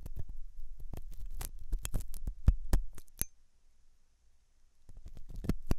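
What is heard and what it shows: A thin hooked metal dental tool scratches inside the ear canal of a soft, solid-looking white silicone dummy ear on a binaural microphone. Quick, irregular scraping clicks and crackles ride over a low rumble, go quiet for about a second and a half, then pick up again with a few sharp bright ticks.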